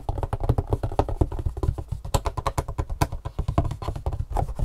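Long fingernails tap quickly across the faces of a long, hollow, printed cardboard Superfeet shoe insole box held up in the air. The result is a dense, steady run of dry, dull taps with a low, hollow thump and almost no ring after each hit.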